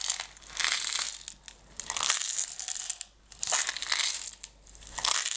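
A closed clear plastic jar full of green decorative stones is scratched and tapped on its sides and lid by long red nails. The result is bursts of bright, crinkly scraping with soft clicks, swelling and fading in uneven waves.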